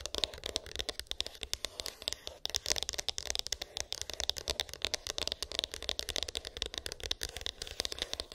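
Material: Cardboard.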